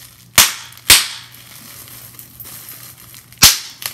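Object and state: Bubble wrap popping.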